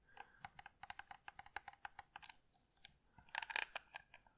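Long red nails tap and scratch a handheld white and blue plastic Philips electric lint shaver with a metal mesh head and hollow casing. A run of quick, bright, dry clicks is followed after a short pause by a louder burst of crisp scratching and a few final taps.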